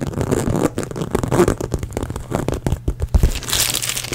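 A small black glossy crocodile-embossed faux leather handbag, hollow and apparently empty, is scratched and rubbed with long nails close to the microphone. Fast, dense scratching and crinkling with a low, boomy body rises and falls, ending in brighter hissing rubs.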